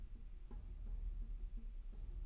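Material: Nothing is struck.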